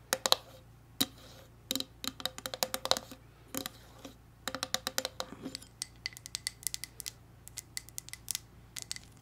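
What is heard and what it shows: Long red nails tap and scratch a red glass candle jar with a lid, filled with wax. Dozens of quick, bright clicks sound in an uneven run, each dying away almost instantly, over a faint low hum.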